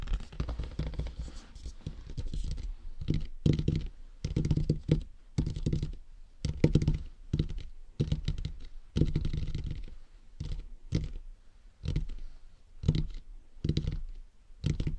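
Fingertips tap on the crown of a hollow, matte black plastic dummy head microphone around the top fitting. The taps come as a dense run of short, dull, low thumps with brief scratchy clicks, close and dry with almost no ring.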